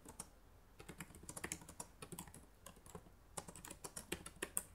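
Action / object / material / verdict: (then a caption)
tap / plastic laptop keyboard keys / plastic / none. Fingertips with long nails type on the plastic keys of a black laptop keyboard, producing a quick, uneven run of sharp, bright clicks and taps. Each keystroke is short and dry, dying away almost instantly with no ring.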